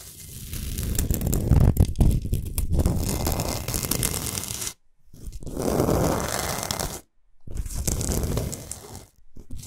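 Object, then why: Rock salt block. Long nails scratch quickly across the top surface and side edges of a large, flat, rectangular solid block of pink Himalayan rock salt. The result is a rough, gritty, rasping scrape with a heavy low rumble and a dry, bright hiss. It comes in sustained bursts separated by brief silent pauses.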